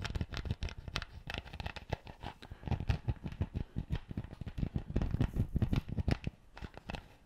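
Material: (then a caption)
Plastic. Fingertips and nails scratch and twist a plastic screw cap on an empty clear PET bottle. A dense, rapid run of short, dry scratching and crinkling clicks with a heavy low thump to each, each tick dying away almost instantly. The clicks quieten briefly near the end.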